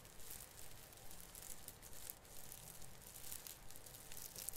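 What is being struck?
Plastic needles of an artificial fir branch.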